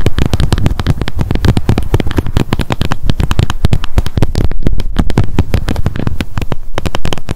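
Long nails rapidly tap and scratch the white plastic cap of a small light-blue plastic sunscreen bottle. The result is a dense, continuous stream of quick clicks and scratchy taps with a heavy low thump, each tap dying away quickly.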